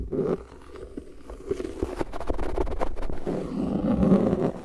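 Fingertips tap and scratch the flat surface of a thin, translucent plastic frisbee disc held upright close to the microphone. The result is a dull, hollow patter of soft taps over a low, rumbling scrape, with almost nothing bright. The scratching swells louder and thicker toward the end.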